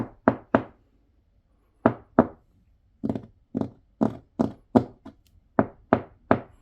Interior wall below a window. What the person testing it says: 통통 소리가 납니다. 안이 텅 비어 있는 그러한 느낌이 납니다.